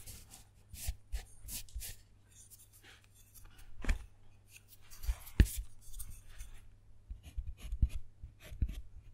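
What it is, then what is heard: Dark chocolate bar being carved. A metal carving tool scratches letters into a square of a segmented solid dark chocolate bar, next to a name already carved into it. Short, dry scraping strokes come in irregular bursts with bright, hissy edges, and a few sharper ticks stand out. A faint low hum sits steadily underneath.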